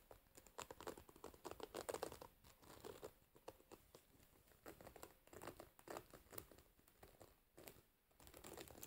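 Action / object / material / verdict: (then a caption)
scrape / wooden hairbrush with metal pins in a rubber cushion / wood, metal / none. A wooden hairbrush with metal pins set in a rubber cushion is held up and rotated while long nails scratch and pluck the pins and tap the wooden frame. The result is a quiet, dense run of crisp scratching, quick dry ticks and bright crinkly plucks that come in uneven bursts and stop almost instantly, with little low end.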